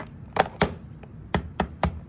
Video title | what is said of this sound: Don’t waste your time or money on non-Apple power adapters! | when I tap on that, it's super light. It just doesn't feel the same.